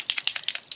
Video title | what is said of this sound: Metallic Pencil and Pen Comparison - Has Grabie Sent me the Shiniest Metallic Pen Ever? | shake it you can hear there's a ball inside